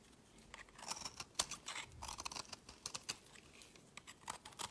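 A metal blade scrapes crumbly shavings off a solid oval green-blue marbled soap bar held in the fingers. A quiet, uneven run of short, dry, bright scrapes and crackles sounds out, each cutting off almost at once.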